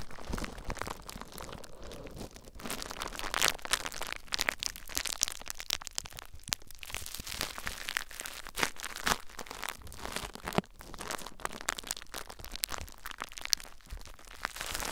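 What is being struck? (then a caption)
Plastic bubble wrap. Clear plastic bubble wrap is wrapped around a recorder while fingertips and short nails press and scratch across the bubbles. Dense, bright crinkling and crackling runs throughout, with frequent sharp, very short snaps and ticks rising above the steady rustle.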